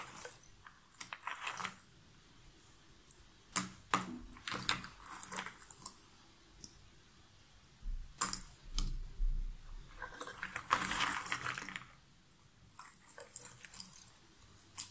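Hands pick up loose cardboard jigsaw puzzle pieces from a pile in a cardboard box lid, rub them between the fingers and let them drop back in. Soft dry rustling and scraping come in irregular bursts, broken by sharp, bright little clicks and ticks as pieces fall. Quiet pauses separate the handfuls.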